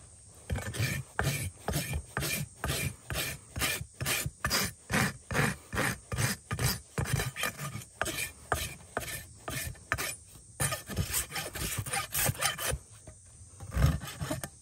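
A flat steel rasp is drawn repeatedly across the sole and rim of an upturned horse hoof of solid keratin resting on a hoof stand. About 34 short, rough filing strokes rasp in a steady back-and-forth rhythm, each with a low, woody body and a bright gritty hiss. There is a brief pause near the end before a few last strokes, and then the rasp is lifted away.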